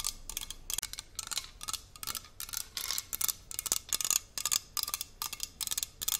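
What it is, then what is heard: Aluminium water bottle tapped with nails. Long nails tap quick ticking patterns on the sides of a hollow, handheld red aluminium water bottle with its cap on. The taps are bright, dry clicks that die away almost instantly, coming in rapid bursts with short pauses between them.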